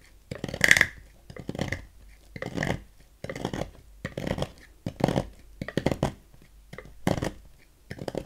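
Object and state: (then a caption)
Bar soap being carved. A thin metal knife carves a partly carved solid red Safeguard bar soap, held by fingers on a table, scraping off long shavings into a pile. Repeated short, dry scraping strokes sound with soft rasping texture and brief pauses between them.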